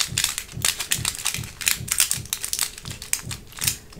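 A translucent green, hollow plastic blister tray with compartments is squeezed and tapped by long nails. It gives a bright, crinkly crushing crackle in repeated bursts, with a soft low thump under each squeeze.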